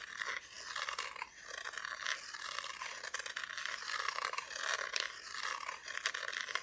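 Long nails scratch across the bare, unfinished wooden back of a flat, solid Christmas decoration cutout. The result is a continuous, dry, rasping scrape with bright, hissy texture, a strong band near 2.5 kHz and no low end, rising and falling in short strokes without any ring.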